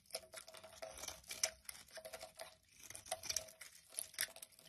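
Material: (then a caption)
Soap. A utility knife blade repeatedly scrapes curls off a solid pale yellow bar of soap with an embossed logo, held in hand. It makes a quiet run of crisp, bright scraping and crinkling strokes with almost no low end. Each short stroke stops dead with no ring.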